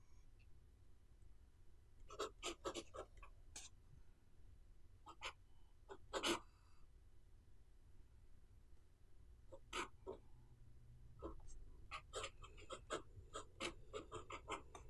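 A pen nib writes short strokes on the page of an open paper notebook, making brief, bright scratching bursts. The scratches come in clusters separated by pauses, over a low, steady background hum.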